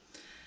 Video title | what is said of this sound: Glaze Kiln Opening: Amaco Celadon/Potters Choice & Mayco Stroke & Coat PART 1 Pottery Video/Tutorial | it's really, really thin. I mean, it really is thin, but you can hear it's ringing nicely, so it's fine.